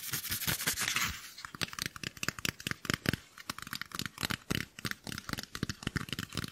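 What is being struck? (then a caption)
Portable speaker with fabric mesh over a hard plastic body. A white cylindrical portable Bluetooth speaker, about 18 cm long with fabric mesh over a hard plastic body, is held in one hand and scratched and tapped with the long nails of the other. A second of steady, bright, hissy scratching across the fabric gives way to a quick run of short, dry taps and scrapes that stop at once, with a little low thump under each.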